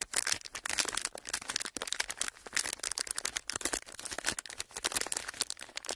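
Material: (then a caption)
Plastic. A folded strip of clear plastic film is rubbed and crinkled between the fingertips of both hands. It makes a dense, continuous run of bright, crisp crackles and quick snaps, almost all high-pitched with almost no low end. Each crackle dies away almost instantly.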